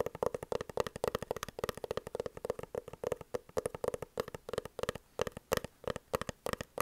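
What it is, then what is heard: Hard-shell glasses case tapped with fingernails. A dark, oblong, hollow hard-shell eyeglasses case is held horizontally and tapped with the long fingernails of both hands. About 48 rapid, crisp clicks land in a steady stream, each with a hollow tone around 480 Hz that dies away almost instantly.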